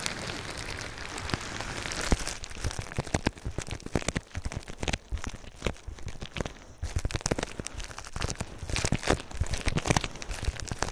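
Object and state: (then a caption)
Plastic bubble wrap. Fingers rub, scratch and squeeze clear plastic bubble wrap wrapped around a binaural microphone. It makes a dense, continuous crinkling and crackling with many sharp, quick snaps over a low handling rumble. The snaps come thicker in the second half.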